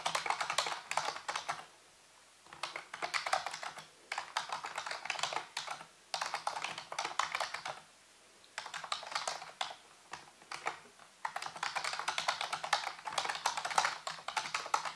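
Fingertips and nails type and tap on the keys of a full-size black plastic computer keyboard with a hollow housing. Bursts of fast, bright, clicky keystrokes are broken by short silent pauses, with a crisp, hollow plastic clatter.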